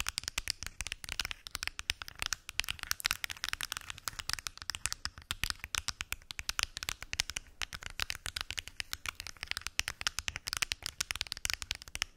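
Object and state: Pill box.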